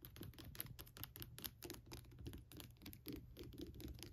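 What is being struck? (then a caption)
Hollow translucent plastic skull lamp. Long nails tap and scratch around the eye sockets of a hollow, lit plastic crackle skull lamp with a bumpy translucent plastic surface. A quiet, fast run of dry plastic clicks and scratchy crackles rides over a low, steady rumble, with bright ticks at each tap. Each sound stops short with no ring.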